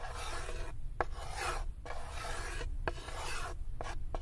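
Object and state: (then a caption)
Wooden tray being scratched. Long nails scratch along the inner edge of a light wooden serving tray that sits open and empty, making repeated dry, rasping strokes. Short bright clicks mark the starts and stops of the strokes over a steady low rumble.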